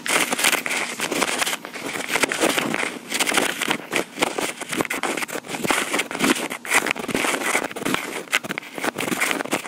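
Long pink acrylic nails tap and scratch the top of a small black plastic Tascam recorder, mostly with one hand. The result is a dense, continuous stream of quick, dry clicks and scratchy crackling, bright and thin with almost no low end and very short decay.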